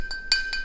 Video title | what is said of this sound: 풍란 배양분 완전 정리｜토분, 낙소분, 플라스틱분 무엇이 좋을까? | This one and that one are similar, but since this one has a longer resonating body